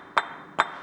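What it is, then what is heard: Well-fired red brick. A well-fired red clay brick is knocked twice, giving two crisp, bright, metallic-sounding clinks centered around 1.1 kHz that fade quickly. The clear ring marks it as a good, fully fired brick; a dull sound would have meant poorer quality.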